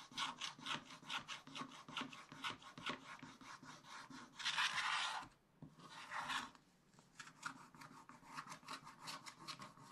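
A wooden stylus scratches the black coating off a scratch-art page in a spiral-bound book, working near the monkey and along the top of the page. Quick, rhythmic bright scrapes repeat steadily. Two longer, louder rasping strokes and a brief quiet gap sit in the middle before the short scratches resume.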